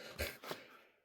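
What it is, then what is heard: Tight-fitting pistol, barely rattles when shaken. A steel HK P7 pistol is shaken and gives two faint, short, dull clicks with a little high, bright edge before fading to near silence. There is almost no rattle, showing a tight fit.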